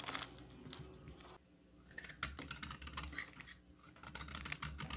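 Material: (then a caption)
Soap. A solid green bar of soap held in the hand is shaved with a utility knife blade, making quick, crisp scraping and crackling strokes with a bright, dry texture. The shaving briefly goes quiet about a third of the way in, then resumes with a run of sharp little snaps and soft scrapes.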